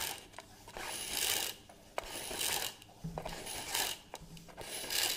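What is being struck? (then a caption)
Plastic reel measuring tape. A hollow plastic reel measuring tape with a crank is held in both hands while fingers tap and scratch its casing and rim, and the winding mechanism clicks. Bright, hissy scratching swells in repeated bursts, broken by sharp, short clicks and taps in the pauses between them.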